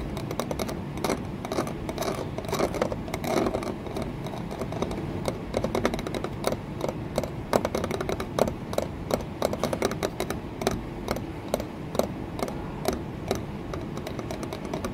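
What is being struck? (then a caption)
Embossed glass window pane in wooden frame. Long nails tap and scratch an embossed green textured glass pane, a solid flat panel set in a wooden window frame. Rapid, sharp clicks with short, dry ring run steadily over a low scratching rustle, with occasional brighter, louder taps standing out.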